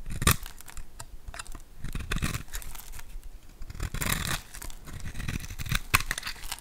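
A hand-sized solid bar of green soap, pre-scored in a grid, is held in the hand and scraped and carved with a metal utility knife blade, breaking off green cubes. Dry, tearing scrapes and crumbly crunches come in quick, uneven bursts, with a few sharper snaps standing out.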